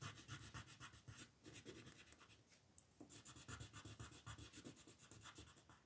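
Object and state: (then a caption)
Colored pencil on paper. A yellow colored pencil rubs and scratches across a thin sheet of white mandala paper lying flat on a table while the other hand, with long nails, rests on the paper. Quick, uneven coloring strokes repeat as soft papery scratches with a bright, airy hiss over a low, muffled thud. The strokes run continuously through the whole clip.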